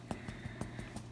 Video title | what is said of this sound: Making Calzones | they sound kind of hollow yep see they're done